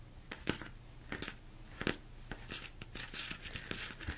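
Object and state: Plastic mixing bowl, hollow and empty.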